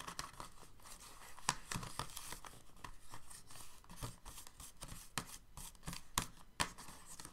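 Fingertips and short nails tap and scratch across the hollow moulded ridges of an empty, clear, thin plastic paint-tube insert tray sitting in a white box. The result is a quick, uneven run of crisp, dry clicks and crinkly scrapes, with bright highs and a light hollow tone around 1 kHz. Each tap dies away almost instantly.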